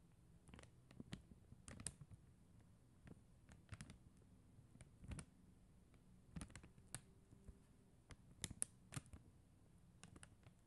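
Long acrylic nails tap on a flat sheet of faceted plastic rhinestone gem stickers, producing quiet, gentle, irregular clicks. Each tap is a short, dry tick with a soft low thump beneath a bright edge, dying away instantly with no ring. The taps come in scattered clusters over a faint steady hiss.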